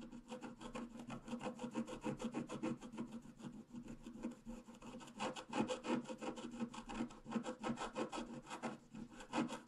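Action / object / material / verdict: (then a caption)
scrape / scratch-art paper card scratched with a wooden stylus / coated paper / none. A pointed wooden stylus scratches repeatedly across a flat, black-coated scratch-art paper card lying solid on a table. Quick, slightly uneven strokes, about three per second, make a dry, papery rasp with a low-mid body and bright, fizzy edges. Each scrape stops almost at once, with no ring.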